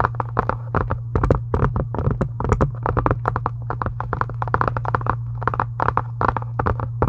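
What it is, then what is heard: Faux leather book cover. Long acrylic nails tap and scratch a pink embossed faux leather book cover in a quick, steady stream of short, dry clicks and scrapes over a constant low hum.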